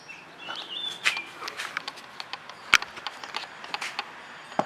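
Knuckles knock from inside on the steel roof of a second-generation Vios (2007–2012) after damping sheets have been installed beneath it. About sixteen short, dull knocks with a bright edge die away almost instantly without any ringing. The roof now sounds solid and deadened.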